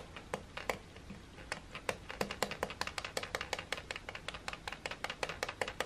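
A fingertip repeatedly presses and taps the button beside the slide switch on a silver, hollow plastic hair dryer. About thirty quick, dry plastic clicks come at an uneven pace over a faint background hiss. Each is a short, hollow knock centered around 500 Hz with a bright edge and almost no ring.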